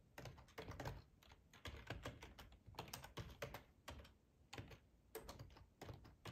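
Fingertips of both hands type on a full-size black plastic ergonomic split keyboard resting on a cloth tablecloth. The result is a quiet, uneven run of soft, muffled key clicks with a low thump beneath, coming in bursts with short pauses between them.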